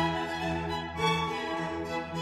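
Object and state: Nothing is struck.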